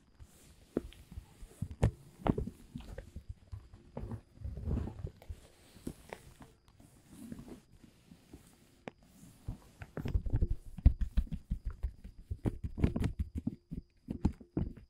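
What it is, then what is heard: Woven plastic tarp. An open hand and fingertips rub and pat a large, thin, dark blue woven polyethylene tent groundsheet. Soft, dull pats and scratchy rustles come in short bursts separated by quiet pauses, mostly low and muffled. The tapping grows busier and denser toward the end.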